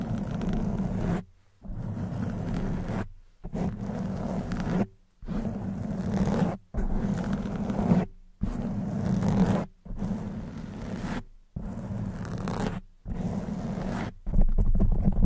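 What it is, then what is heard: Foam microphone windscreen being scratched. Long white nails scratch the front and sides of a soft black foam windscreen on a silver condenser microphone. About ten bursts of dense, rough scratching are separated by brief silences. The sound is a low, boomy rasp with a steady hum near 184 Hz, and the final burst is the loudest.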